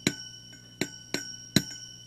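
A glass preamp tube in a budget tube preamp kit is tapped four times while the amplifier is running, and each tap comes through the audio as a short, bright ringing "zing" over a steady hum. This is tube microphonics, where vibration shakes the tube's internals, and it is not really an issue.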